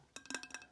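A quick series of light taps on another spot of a tumbler's body gives a sharp, ringing, bright tone around 1.6 kHz, unlike the dull sound of its lid. Each tap decays quickly.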